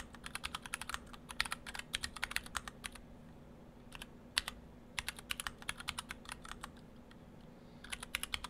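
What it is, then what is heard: Mechanical keyboard with PBT plastic keycaps. Fingertips of both hands type on an Orthodox Rev3.1 split ortholinear mechanical keyboard, built in two halves with clear acrylic cases, stock Gateron Brown switches and white and cyan PBT dye-sub keycaps. Bursts of quick, bright clacks with very short decay come in uneven runs, broken by brief pauses, over a faint steady low hum.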